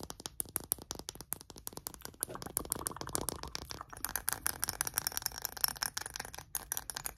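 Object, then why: Small glass perfume bottle. A small glass perfume bottle filled with amber liquid, with printed lettering, is tapped and scratched with short nails. The result is a fast, dense run of sharp, dry clicks and taps mixed with brief scratchy scraping. The sound is bright and has almost no ring, with high glassy glints heard in places.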